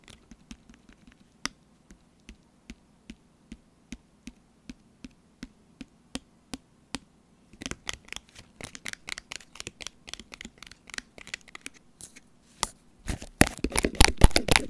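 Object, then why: Sealed laminated foil-plastic pouch. Long orange nails tap on the back of a small, sealed, full laminated foil-plastic tuna pouch, over its nutrition label. Short, dry, evenly spaced taps come first, then quicken into dense, bright tapping and scratching that builds to a rapid, louder crinkling flurry at the end.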